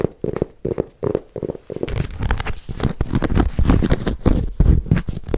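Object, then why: Embossed leather handbag. Fingertips and nails scratch and rub across a silver python-embossed leather MK handbag held up hollow. The result is a rapid, uneven run of soft, dull scratching and rubbing bursts, low and muffled with almost no bright edge.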